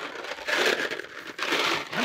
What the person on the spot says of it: shake the box a little bit so you can hear our candy jingling